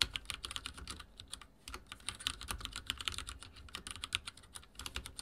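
Fingertips type rapidly on a backlit mechanical keyboard with dark plastic keycaps and a silver frame. It makes a quick, uneven stream of bright, crisp clicks, each dying away almost at once, with a faint low thud under some strokes and a brief lull near the middle.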